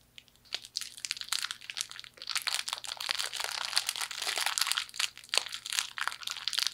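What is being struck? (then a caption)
Fortune cookie in a plastic wrapper. A small hollow fortune cookie in its plastic wrapper is crushed in a fist and crunched through the wrapper. Dense, bright crinkling of plastic mixes with sharp, dry crunches of the cookie breaking, in rapid uneven bursts that swell and fade over the whole clip.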